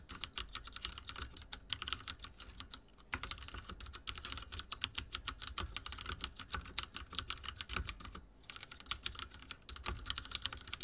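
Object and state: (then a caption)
Plastic mechanical keyboard. Fingertips of both hands rapidly type on a full-size backlit mechanical keyboard with dark plastic keycaps and linear switches, resting on a wooden desk. The result is a fast, steady stream of crisp, bright plastic clicks with a soft low thud under each press, broken by brief pauses near 3 and 8 seconds.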